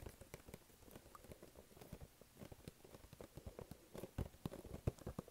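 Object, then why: Small cardboard gift box. Fingertips tap and stick-pull on the face and then the side edge of a small, flat, hollow, glossy pink-and-black printed cardboard gift box held in both hands. The result is a quiet, rapid patter of soft, dull, low taps with brief sticky peeling clicks, each dying away almost instantly. The taps grow a little louder and sharper toward the end.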